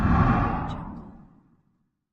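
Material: Nothing is struck.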